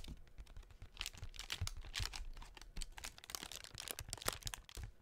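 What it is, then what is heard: Paper honeycomb decoration. Long nails tap and scratch the cells of a hollow blue tissue-paper honeycomb half-ball set on a cardboard doughnut cutout, held close. The result is a quiet, rapid stream of dry, papery ticks and crinkly scratches with bright, crisp edges and almost no ring.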